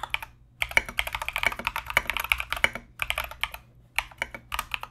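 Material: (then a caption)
Plastic. A compact mechanical keyboard with Mozano EVE switches and Knight King plastic SA keycaps is typed on continuously with the fingertips of both hands. Rapid bursts of sharp, bright clacks with a tonal ring around 2.3 kHz come in runs, separated by brief pauses near 0.5, 3 and 4 seconds.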